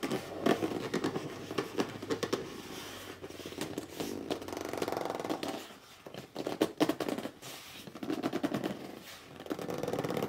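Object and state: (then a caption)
Corrugated cardboard box being scratched. Fingertips and short nails quickly scratch and rub the top and front edge of a hollow red corrugated cardboard box lying flat. Dense bursts of dry, rapid scratching and squeaky gripping rubs, with a hollow mid-range body, come in fast flurries separated by brief quieter pauses.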